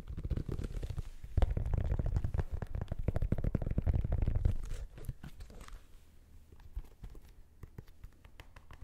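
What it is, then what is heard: Sneaker tapped with fingertips and nails. Fingertips and nails tap on the rubber outsole, plastic air-unit midsole and synthetic upper of an empty black and gold Nike Air Max 2090 sneaker held in hand. The result is a rapid, uneven patter of dull, low thumps with light crinkly clicks on top. The tapping is dense and heavier for the first five seconds, then turns to softer, sparser taps.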